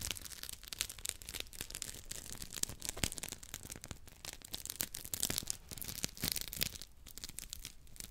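Two identical hand-sized, round yellow textured polymer scrub sponges with smiley faces are rubbed against each other right next to a microphone grille. The result is a dense, bright, scratchy rasping made of rapid short bursts over a thin low rumble, steady in level throughout.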